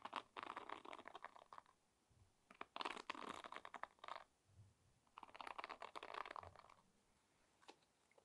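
Fingernails and fingertips strum and scratch across the wooden pins of a wooden pin hairbrush. The result is three dense bursts of rapid, crackling clicks, strongest in the midrange with bright, high edges. Quiet gaps between the bursts carry only faint, soft low thumps.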